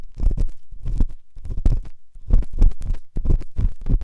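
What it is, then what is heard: Pen tip rubbing inside a silicone dummy ear. A pen tip scratches and rubs inside the ear canal of the right white silicone dummy ear on a binaural microphone. It makes a string of muffled, deep rustling bursts, low and thumping with almost nothing bright, coming in uneven pulses with brief quiet gaps.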